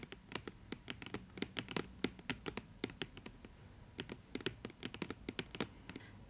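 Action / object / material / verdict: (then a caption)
tap / cardboard box / cardboard / none. A printed purple cardboard figure box, hollow and holding an Idol Master Banpresto anime figure, is held in both hands and tapped and scratched with long acrylic nails. About 34 crisp, quick clicks and taps sound in an irregular stream, each dying away almost at once over a faint scratching hiss.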